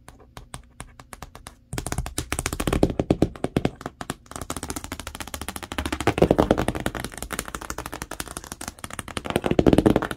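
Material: Cardboard.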